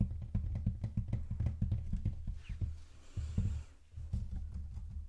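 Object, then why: Cardboard shoe box lid. Fingertips with short nails tap and scratch across the speckled black printed cardboard lid of a large, hollow rectangular Jordan "Flight" sneaker box. The result is a quick run of soft, deep, hollow thumps with short scratchy brushes between them.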